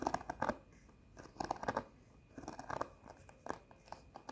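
A flat cardboard sheet of plastic rhinestone face stickers is held up and tapped and scratched with long nails. The result is bursts of crisp, bright clicks and scratchy rustling in clusters, separated by brief quieter pauses.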